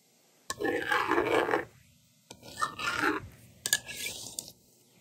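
A yellow plastic stylus scratches numbers onto the honeycomb screen of a blue and pink plastic magnetic drawing board held in one hand, and the screen is then wiped clean with the slider. Three separate bursts of dry, gritty scratching and scraping are heard, with quiet gaps between them.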